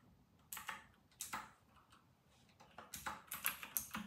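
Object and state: Plastic mechanical keyboard being typed on.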